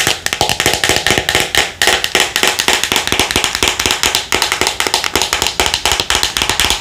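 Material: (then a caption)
Plastic. Long nails tap quickly on the label and red plastic lid of a white plastic Thayers pad jar held in the hands. The result is a fast, steady run of crisp, bright plastic clicks, each dying away almost at once.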